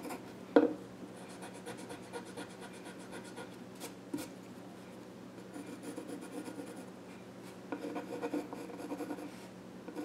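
A pencil scratches drawing strokes across the flat top of a small wooden child's stool, making a soft, steady dry rasp. A sharp tap stands out near the start, another comes around the middle, and the strokes grow busier and louder in bursts toward the end.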